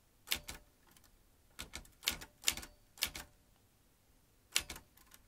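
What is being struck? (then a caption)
Manual typewriter with metal typebars. An old manual typewriter with metal typebars and round keys is typed with fingertips, each key driving a typebar into the mechanism. Sharp, bright metallic clacks come in short uneven bursts separated by quiet pauses, each strike dying away almost at once with little low end.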